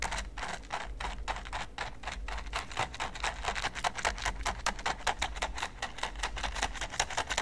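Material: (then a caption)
Silicone. A green silicone basting brush is brushed and flicked across the pyramid studs of a large, flat red silicone pyramid baking mat. It makes a rapid, dense stream of crisp, bright ticking and flicking over a steady low hum, speeding up and growing louder in the second half.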